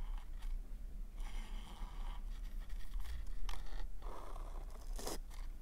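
A pink polka-dot paper cone party hat, hollow and held tilted close, is scratched and tapped by fingernails on its glossy paper surface. Dry, papery scrapes and light taps come in uneven bursts over a steady low hum, with some brighter scratchy swishes.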